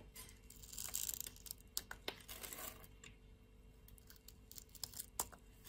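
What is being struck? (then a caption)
Bar of soap cut with a metal blade. A metal utility-knife blade scrapes across and cuts cubes off a solid pink bar of soap held in the hand. The sound is bright, crisp scraping and crackling, broken by sharp, quick snaps as pieces break away. It is quiet and close, with little low end.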